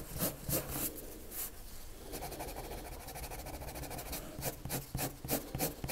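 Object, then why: Colored pencil on a paper drawing sheet. A red colored pencil makes quick hatching strokes across a white paper sheet lying flat, scratching the surface. Short, bright, scratchy bursts come in a fast, fairly steady rhythm, blending into a continuous rubbing stretch in the middle before the separate strokes return.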